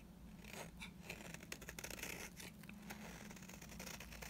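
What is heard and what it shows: A blade scrapes flakes off the face of a dry, solid yellow bar of soap, making soft, dry, crackly scratching with bright, crisp edges. Brief ticks and crunches repeat over a steady low hum throughout the quiet clip.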